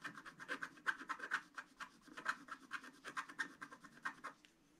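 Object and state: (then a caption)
Scratch art paper being scratched. A wooden stylus scratches across a flat black sheet of wax-coated scratch art paper, etching chimney bricks. A quick, irregular series of short, dry scratching strokes sounds with a bright, papery rasp centered around 1.5 kHz. The strokes stop abruptly, leaving near silence at the end.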